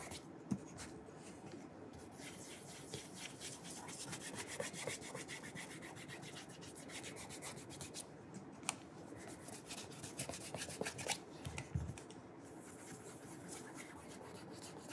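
A polished burgundy leather oxford dress shoe, hollow and held in one hand, is rubbed with an orange polishing cloth wrapped around the fingers while its matching shoe stays untouched on the table. The clip is a steady, soft, broadband rubbing and brushing texture with frequent faint ticks and a few sharper clicks scattered throughout.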